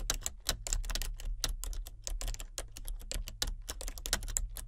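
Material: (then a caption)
Plastic. Fingertips of both hands type continuously on a solid, full-size plastic membrane computer keyboard with a colour-changing backlight. A quick, steady stream of short, bright clicks and soft taps rises over a constant low hum, each keystroke dying away almost instantly.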